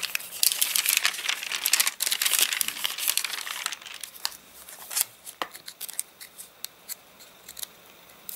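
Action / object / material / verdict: scrape / paper catalogue / paper / none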